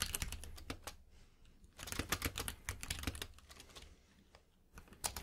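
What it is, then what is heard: Mechanical keyboard with plastic keycaps. Fingertips of both hands type continuously on a compact 60% mechanical keyboard with pink and white plastic keycaps resting on a plush mat. Quick, uneven bursts of keystrokes combine a low thock with a bright plastic clack, dying away almost instantly. The typing eases off briefly after the first second and again near the end before picking back up.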